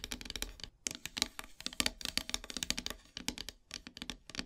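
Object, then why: Painted wooden heart-shaped board. Long silver nails rapidly tap across the surface of a black painted wooden heart plaque, a flat solid heart-shaped board painted matte black. The result is a dense run of bright, dry clicking taps with almost no ring, broken by short pauses before the tapping resumes.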